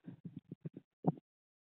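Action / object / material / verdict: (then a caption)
knock / watermelon / fruit / ripe. Someone knocks on a freshly harvested watermelon to check it, making a quick run of short, dull, low thumps with a final louder knock after a brief pause. The watermelon, not cut open, is judged fairly ripe.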